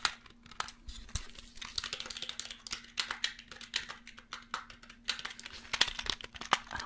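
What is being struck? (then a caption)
Plastic numeric keypad. Fingertips tap, press and rub the plastic keys of a small black plastic USB numeric keypad held in the hands. The result is a quiet, irregular stream of short, bright clicks and soft scratchy rubbing over a faint steady low hum.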